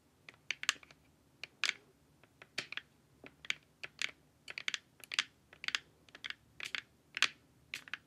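Long nails tap the sides of a glossy, hollow plastic LED face mask in quick, uneven bursts of sharp, dry clicks. The taps are bright and crisp, each dying away almost instantly, with no low-end body.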